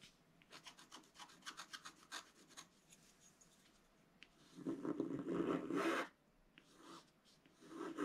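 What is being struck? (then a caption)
Black-coated paper scratch-art sheet scratched with a wooden stylus. A flat black-coated scratch-art card lies on a table and is scratched with the pointed tip of a wooden stylus held in the fingers while the other hand holds the sheet flat. A quick run of short, dry scratching strokes is followed by a pause, then a longer, louder continuous rasping scrape. Softer intermittent scratches close the clip.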